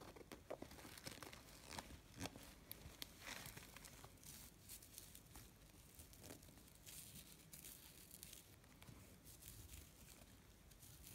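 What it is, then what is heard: Faux-leather zip pouch. Fingertips and nails scratch and rub the surface of a small, hollow, gold metallic faux-leather cosmetic pouch with a snakeskin texture, zipped shut, then fiddle with its metal zipper pull. The result is a quiet, steady, bright crinkling scratch with scattered sharp little ticks and clicks.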